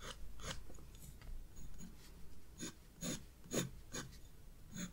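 A graphite pencil scratches short shading strokes on the hyacinth drawing in a spiral paper sketchbook. It makes a series of brief, dry rasping scrapes, each a quick bright hiss over a soft low rustle, that end almost at once with no ring.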